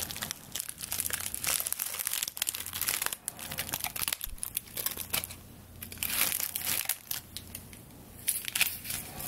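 Long nails scratch and rub along a straw broom of tied dry stalks, held first horizontally and then upright. The result is a dense, bright crackling and crinkling with quick bursts that swell and fade, over a faint steady low hum.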